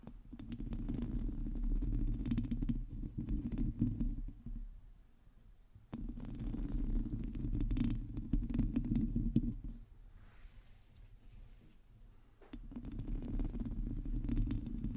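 Long nails of both hands scratch the sides of a black microphone's hollow metal mesh grille, producing a dense, rapid, low rumbling scrape centered around 200 Hz. The scratching comes in three sustained bursts separated by quieter pauses, with faint brighter rasps between them.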